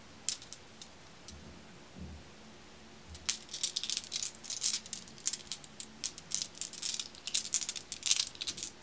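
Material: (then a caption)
Glass. A pile of small, solid, dark, glossy glass marbles is held in the palm and then shaken between cupped hands with long red nails. A few sparse, sharp clicks come first, then a dense, bright rattle of quick glassy clacks with almost no ring and very little low end.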